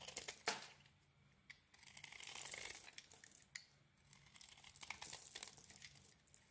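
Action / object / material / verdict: scrape / solid soap bar scraped with a small metal blade / soap / none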